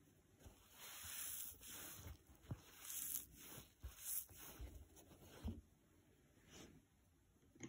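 A thin, detached green nylon scouring pad lying on a wooden table is flexed by fingers, then rubbed with a soft makeup brush. Dry, crisp, crackly rustling and scratchy hiss come in uneven swells, with a few sharper ticks and soft low bumps between quieter pauses.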